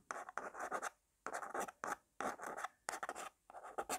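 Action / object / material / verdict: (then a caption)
scrape / small plastic jar with screw lid / plastic / none. Long black nails scratch and tap quickly and aggressively on the lid of a small, round, black plastic jar of got2b forming paste, apparently full and held in the hand. Five bursts of dry, rasping scratches and quick clicks are separated by short silences. The texture is bright and papery, centred in the midrange around 780 Hz, with no low end.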